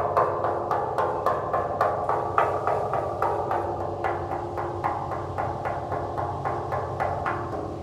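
Repeated taps on a giant aluminum sculpture of a celery stalk give a quick series of hollow, ringing metallic knocks with a clear mid-range tone. The short rings overlap beneath a steady low background hum, and the tapping sounds hollow.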